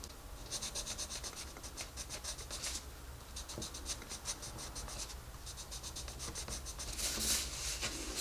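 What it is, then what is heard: Colored pencil rubbed on paper. A wooden colored pencil is rubbed quickly back and forth over the page of an open paper coloring book on a desk, while the other hand, with red nails, holds the page. The result is a soft, bright, scratchy shading sound in bursts of rapid strokes, about four per second, with brief pauses between bursts over a low steady hum.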